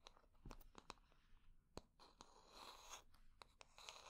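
Long nails tap and scratch the smooth back of a solid wooden hair brush held in hand. Quiet, sharp, dry clicks stand out against a soft, bright scratching rustle that swells in the middle of the clip.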